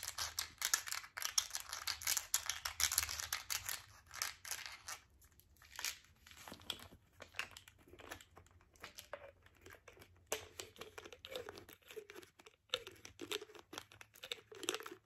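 Long nails tap and scratch the yellow plastic cap and label of a green plastic vitamin bottle holding tablets. The result is quiet, bright, crinkly clicking and scraping, dense for the first few seconds and then thinning into sparser taps and short scratches.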